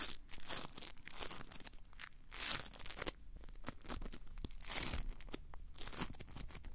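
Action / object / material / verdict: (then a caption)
scrape / small soft foam piece / foam / none. A small, soft blue foam piece about the size of a palm is squeezed, crumpled and rubbed between the fingertips of both hands. It gives a steady run of dry, bright crinkling and tearing-like bursts with soft crunches and quick swells and dips in loudness. Each burst stops dead with no ring.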